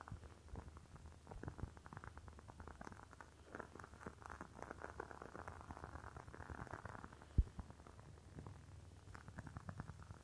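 Long fingernails tap rapidly on the walls of a rectangular clear glass candle jar filled with red wax. The result is a quiet, dense patter of soft clicks with a low, muffled body, and one sharper, louder tap stands out about two-thirds of the way through.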